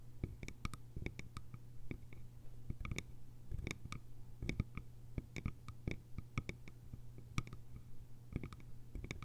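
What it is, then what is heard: Bamboo lidded canister. Long nails tap the lid rim of a small round hollow bamboo jar and scratch its sides, giving quick, dry clicks with bright tips over a steady low hum. The taps come in uneven bursts, each dying away almost at once.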